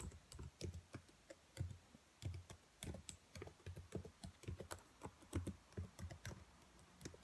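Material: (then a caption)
Plastic. Fingertips and long nails type and tap on the black plastic keys of a dark laptop keyboard. The result is an uneven run of soft, short, low-thudding key presses with sharp, bright clicky edges, each dying away quickly between quiet gaps.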